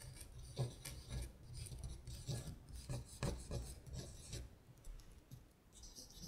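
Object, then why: Printed paper sheet. A long nail traces the words on a thin sheet of paper printed with lyrics, lying flat, producing soft, bright scratching and rasping strokes over a low, steady rumble.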